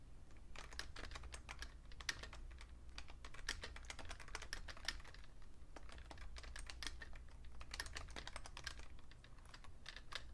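Fingertips type fast on a vintage beige plastic Fujitsu Siemens computer keyboard, with a magazine lying still beside it. Dense, quick plastic key clicks with bright, short ticks around 1.8 kHz sound over a steady low hum.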